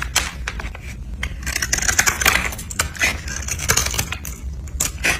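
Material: Soap.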